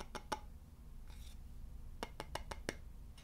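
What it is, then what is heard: Wooden board tapped with fingertips and nails. Fingertips and nails tap and scratch the face and edges of a solid, polished wooden board with a central hole. Two short, dry taps open the clip, followed by a soft, bright scratch and then a quick run of five crisp taps, with a faint final tap near the end. All of it sits over a steady low rumble.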